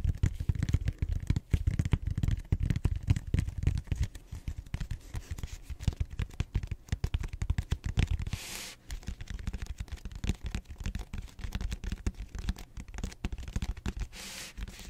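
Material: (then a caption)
Polystyrene foam. Fingertips rapidly scratch or tap the rim of a large, cylindrical purple expanded polystyrene (styrofoam) back roller held in both hands, its flat round end facing forward. A dense stream of short, dull, low-pitched thumps and scrapes runs throughout, with two brief airy hiss bursts near the middle and end.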